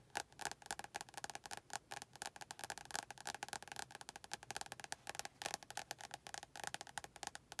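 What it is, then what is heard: Paperback book with glossy card cover. Long painted nails tap quickly on the front of a closed, medium-size paperback book with a glossy orange and yellow card cover and a solid paper block, held in both hands. The result is a quiet, fast stream of short, dry, clicky taps with a bright, woody tone around 820 Hz, almost no low end, and no ring after each tap.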